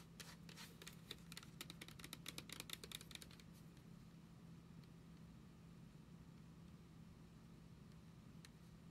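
A small, hollow beige plastic shampoo sample bottle with a white cap is held in the hands and tapped and scratched with long nails. For the first three and a half seconds, a rapid run of sharp, bright, dry clicks is heard. The tapping then gives way to a quiet, steady low hum, with one faint tick near the end.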